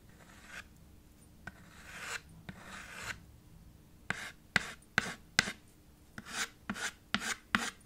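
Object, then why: Chalk on a small slate board with a wooden frame. White chalk shades and writes on a small dark chalkboard slate set in a red wooden frame. Soft, drawn-out scraping strokes come first, then a run of sharper, brighter chalk taps and short scratches in an uneven rhythm.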